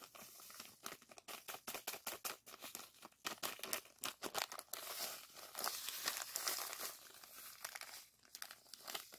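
A small clear plastic zip-lock bag partly filled with coarse purple granules is held in the air while fingers squeeze and crinkle it. The result is a dense run of bright, crackly crinkles and gritty rustles with almost no low end, swelling into a longer continuous crunch around the middle before breaking back into short bursts.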